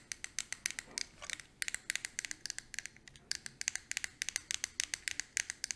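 Long nails tap rapidly and scratch on the lid of a small square eyeshadow palette with a clear hard plastic case, held in the palm. About 38 crisp, bright clicks come in quick irregular bursts, each dying away instantly, with faint scratching between them.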